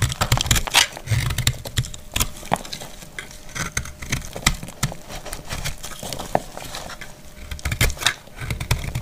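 A solid, dried green rounded soap bar is held in the hand and cut with a metal utility blade, chipping off brittle pieces. Many quick, dry crackling snaps and scraping clicks follow one another closely, with bright crisp edges over a low rumbling handling noise.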